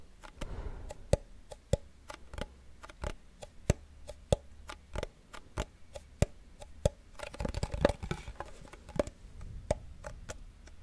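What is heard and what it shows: A small, hollow wooden cigar box with a printed paper label is held close to the microphone and tapped with fingernails. The result is a steady stream of short, sharp, clicky taps with a hollow tone near 560 Hz, coming at an uneven pace and dying away almost instantly. Around the eight-second mark the taps turn into a quicker, denser flurry, all over a faint low rumble.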